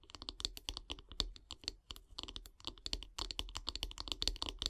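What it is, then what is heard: Wooden bath brush handle, tapped and scratched with nails. Long, grey-polished nails tap and scratch along the long, solid light-wood handle of a bristle bath brush lying on wood log slices. The result is a rapid, irregular stream of dry, bright clicking taps that die away almost instantly, mixed with soft scratching and a faint low thud beneath.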